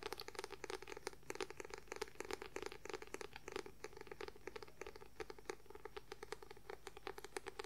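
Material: Paper.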